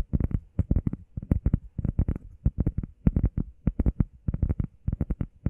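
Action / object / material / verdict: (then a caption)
tap / EVA foam pad / EVA foam / none. Long painted nails and fingertips tap and scratch fast on a flat, solid, hand-sized grey textured EVA foam workout pad shaped like a heart. The result is a rapid, uneven run of short, dull, muffled thuds, mostly deep and low, with no ring after each tap and only a faint bright tick from the nails.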